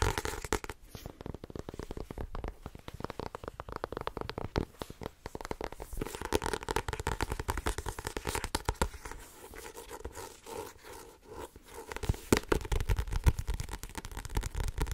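Long nails rapidly tap, scratch-tap and grip the card cover and page edges of a small blue-covered paperback book with a solid paper block. The result is a dense stream of dull, low-heavy clicks and scratchy taps. A softer, rubbing stretch comes in the middle before the louder tapping resumes.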